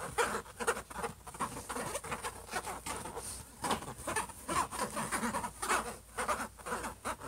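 Fingertips and short nails of both hands quickly scratch and patter across the silver, metallic-look lid of a closed HP laptop. The result is a dense stream of short, dry taps mixed with bright, rough scratching, pulsing unevenly with no ringing between strokes.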